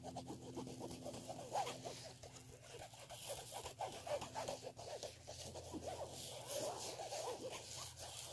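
Fingernails scratch the black woven fabric surface of a black fabric clutch handbag. The result is a quiet, rapid, irregular scratching and rasping with a bright, hissy edge over a faint steady low hum.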